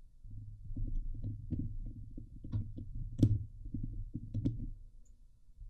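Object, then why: Steel mesh microphone grille. Long nails and fingertips of both hands scratch the hollow steel mesh grille of a Blue Yeti microphone. The result is a dense, low, rumbling scrape with many quick clicks and ticks. A few brighter, sharper scratches stand out before the sound fades near the end.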